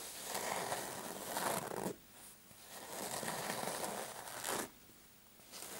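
Short painted fingernails scratch the fabric surface of a soft, dark patterned fabric clutch purse with a metal frame lying on a mat. Three bursts of dry, bright, raspy scratching come through, each a dense crinkly rasp. Brief quiet gaps separate them, and the last is cut short at the end.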